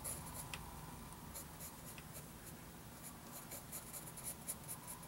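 A sharpened wooden graphite pencil makes light scratching strokes across a lined paper notebook page. The quiet, bright scratches come in short irregular bursts over a faint low rumble.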